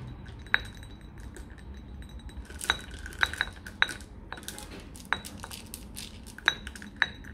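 Fingertips tap and rub a flat, palm-sized blue glass nazar disc hanging on a wall, and a hand shakes the cluster of small glass evil-eye beads dangling on cords below it so they clink together. Sharp, bright glassy clinks with a short ringing tone around 1.6 kHz stand out over a quiet, continuous rustle of rubbing and handling.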